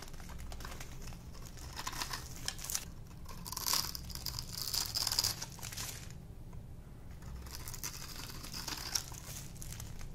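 A solid rectangular bar of dry pink soap, held in one hand, is scraped and shaved with a small metal blade held in the other, producing crunchy flakes. Dense, bright crinkling and crunching scrapes come in bursts over a steady low hum, with brief quieter gaps between strokes.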